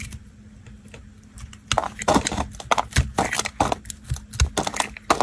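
A knife blade cuts and scrapes pieces off a solid, dry, blue and white marbled bar of soap held in fingers over tiles. Faint, quiet ticks come first, then a run of sharp, dry, crackling scrapes and crunchy cuts with bright edges and brief thumps as the pieces come away.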